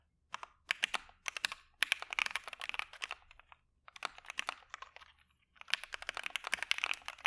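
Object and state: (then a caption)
Mechanical keyboard with PBT keycaps. A dark Maja mechanical keyboard with white PBT keycaps, a POM plate and PE foam is typed on continuously with the fingertips of both hands. Bursts of quick, bright, dry clacks come in runs separated by short pauses, each keystroke stopping dead with no ring.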